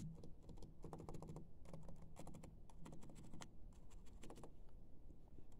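The black plastic keys of a laptop keyboard are rubbed and brushed with a round makeup brush on a silver handle. Quiet, rapid ticking and clicking of the keys comes in bursts, with bright, brushy swishes over a steady low hum.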